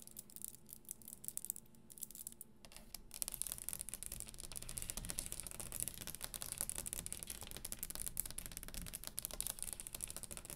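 Long green acrylic nails tap and scratch the top of a round, solid brown-grained wooden dining table with both hands. The first few seconds are sparse and quiet, then a dense, irregular stream of fast, dry clicks and scratchy bright hiss builds up and continues. A low hum runs underneath throughout.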